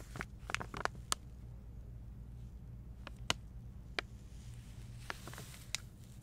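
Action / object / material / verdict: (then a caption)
scrape / flexible plastic pouch filled with bath salts / plastic / none. A medium flexible plastic stand-up pouch of avocado oil bath soak, filled with salt crystals, is held in both hands and crinkled and rubbed with long painted nails and fingertips. Sharp, bright crinkles and clicks stand out over a low, steady hum. The crinkles come in a quick cluster at the start and then more sparsely.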